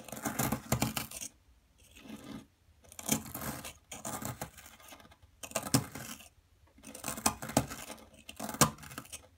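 A small metal chisel scrapes and chips at a solid blue plaster dig block held down by one hand, scattering plaster chunks and powder on a dark table. Bursts of gritty, bright scraping with sharp little clicks of chipping alternate with brief quiet pauses.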